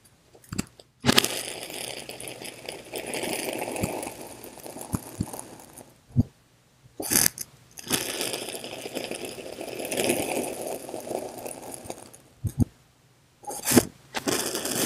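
A hand-held steel kitchen knife slowly slices through a solid slab of blue and green kinetic sand cut into cubes. Two long, gritty scraping passes fill the clip, each with a dense, crumbly hiss that reaches into bright highs. Short, sharp ticks and taps sound between and around them as the blade enters and leaves the sand.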